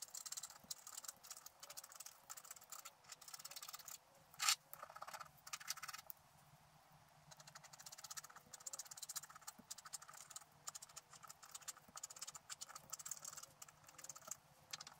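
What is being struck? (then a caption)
Scratch art paper scraped with a wooden stylus. A wooden stylus scratches strands of black coating away from a flat scratch art sheet. The result is a quiet, bright, dry crackling of many quick little scrapes in bursts. There is a sharper louder scrape near the middle and a short quiet pause after it.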